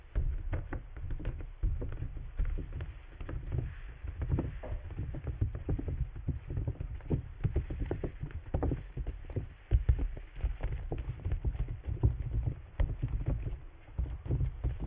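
Fingertips and nails tap the right side and top of a large clear PVC bubble umbrella, a transparent plastic dome with a thin canopy dotted with water droplets. The result is a steady, dense patter of soft, dull thumps that sound low and muffled, with quick, dry decays and occasional brighter ticks.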